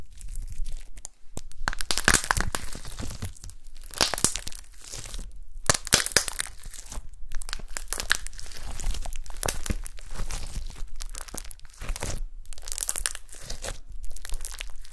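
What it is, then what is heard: Glitter slime. Gold glitter slime on a table is pinched and poked with long nails and fingertips. Continuous bright, crinkly crackles and wet, sticky pops come in bursts, with brief quiet pauses and a low underlying rumble.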